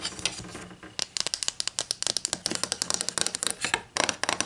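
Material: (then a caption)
Wood. Long green nails tap and scratch along a long, thin, solid wooden ruler with printed protractor markings, lying flat on a white table. A soft scratching opens the clip, then a quick run of many sharp, dry taps with almost no ring follows. The sound is bright and light, with little low end.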